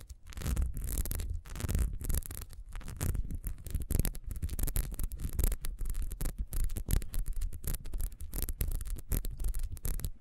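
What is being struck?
Ribbed wax candle.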